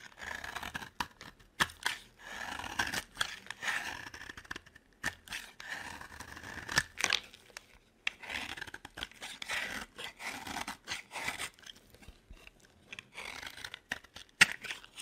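A metal blade carves and scrapes a dry, solid yellow bar of soap, making a series of short, crisp rasping shaves. Each stroke is a bright, papery scrape with almost no low end, separated by brief quiet pauses. The sounds stop cleanly, with no ring after each cut.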